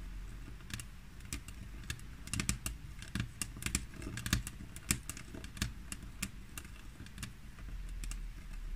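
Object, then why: Glass tabletop. Long fingernails of both hands tap and scratch a flat, solid glass tabletop, making sharp, bright clicks in an uneven series. Soft scratching fills the gaps over a steady low rumble. The ticks stop dead on the hard surface with no ring.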